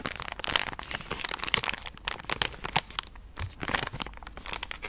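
A pink soft plastic wet-wipe pouch, full of wipes and held in hand, is tapped and scratched with long painted nails. The film gives off quick, dry crinkles and crisp taps that are bright and high, with almost no low end. The clicks stop instantly, with no ring after each one.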